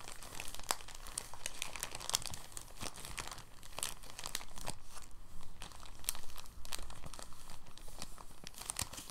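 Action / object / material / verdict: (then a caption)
scrape / thin plastic bag / plastic / none. A clear, thin, empty soft plastic bag is gathered and crinkled between the fingers and thumbs. The result is a steady stream of soft crinkling, broken by many sharp, bright crackles over a low rumble that holds an even level throughout.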